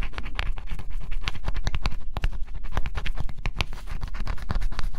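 A small stylus scratches the black coating off a flat, thin coated-cardboard scratch-off jigsaw puzzle, heard close up. Quick, dry scraping strokes follow one another in a steady, dense stream, each with a faint bright rasp over a heavy low rumble. The strokes are short and clipped, with almost no ring.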